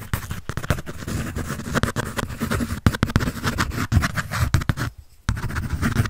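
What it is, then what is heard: Pencil scratching on a paper sketch pad. A pencil shades and scratches over a large paper sheet on a held sketch pad. The result is a dense, continuous scratchy rasp with a low, rough body, broken by a brief silent pause near the five-second mark before the scratching resumes.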